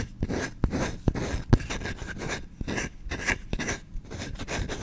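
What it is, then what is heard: Wooden spoon. Short-nailed fingertips scratch fast across the grain of a small, solid wooden kitchen spoon's bowl, held up close to the mic. The result is a dense, uneven run of rough, raspy strokes, heavy in the low end, broken by a few sharper clicks.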